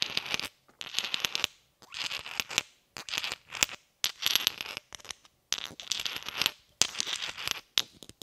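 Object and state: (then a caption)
Inert cast iron pineapple grenade. A hand-sized inert cast iron Mk2-style pineapple grenade with a segmented cast metal body, held in one hand, is tapped with the brass head and plastic hull of a red shotgun shell. Quick bursts of bright, clicky tapping and light scraping come in short clusters separated by brief pauses. Each tap is dry, high and dies away almost at once, with no low ring.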